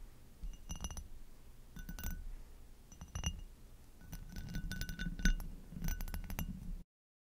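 Long acrylic nails tap the bowl and stem of an inverted, hollow and empty amber hobnail glass goblet. Quick bursts of bright glassy clinks come in clusters, each tap ringing briefly with clear high tones over a soft low rumble.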